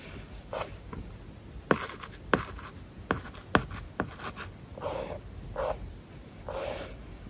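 A plastic stylus tip writes on a large, flat iPad glass screen covered with a matte plastic paper-like film. Five sharp, dry taps stand out among soft, brief scratching strokes. Short, papery rasps repeat irregularly over a quiet background.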